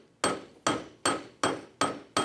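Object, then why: Steel coat hanger. A steel coat hanger is banged near an anvil six times at a steady pace. Each strike is a sharp metallic clank with a short bright ring that fades within a fraction of a second. The demonstration shows that steel is tough and rigid.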